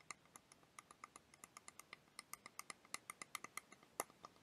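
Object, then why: Hard plastic liquid timer toy. A small clear plastic liquid motion timer toy, filled with blue liquid and yellow wheels, is held in one hand and tapped with long dark-painted nails. About 28 quick, light, bright clicks follow in an uneven rhythm, each dying away almost at once with no low-end body.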